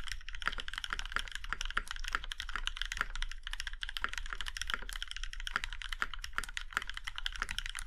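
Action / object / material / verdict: tap / mechanical keyboard, aluminium case, plastic keycaps / aluminium / none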